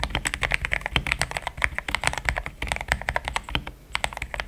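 A compact pink-and-white mechanical keyboard with thick plastic XDA keycaps, a polycarbonate plate and linear switches, resting on a desk mat, is typed on quickly with the fingertips of both hands. The result is a fast, steady stream of short, bright plastic clacks with a soft low thud beneath each press, each one dying away almost instantly.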